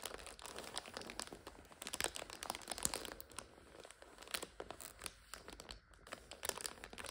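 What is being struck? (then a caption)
Plastic noodle multipack. Hands press and crinkle a full plastic multipack of instant noodles standing on its end, while nails scratch across the red wrapper and the clear packets inside. The result is a quiet, dense run of bright, crisp plastic crackles and scratchy rustles in uneven bursts, with almost no low end.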